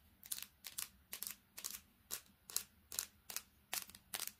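Long painted fingernails tap and scratch fast on the metal back and glass screen of a small, solid, silver-backed handheld smartphone. About ten quick bursts of bright, crisp clicking and scraping come at a steady, brisk pace, each dying away almost at once. There is almost no low end, only a faint hum beneath.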